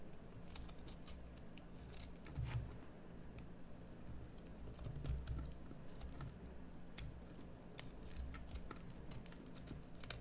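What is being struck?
Bar of soap cut with a small metal blade.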